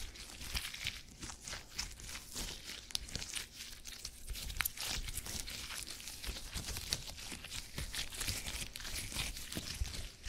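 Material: Polymer gel.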